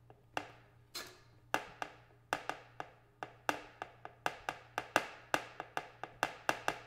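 Metal paint cans are tapped 23 times in an uneven rhythm that speeds up toward the end. Each tap is a sharp, bright knock with a brief metallic ring that fades quickly, heard over a faint steady low hum.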